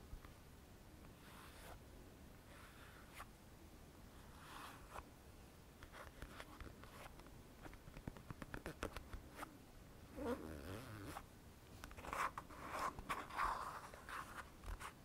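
A small plastic Balea hand cream squeeze tube, hollow and likely partly filled, is held up and scratched and tapped along its sides with short fingernails. Quiet, dry scratching and soft crinkly taps come in irregular bursts, growing busier and brighter toward the end.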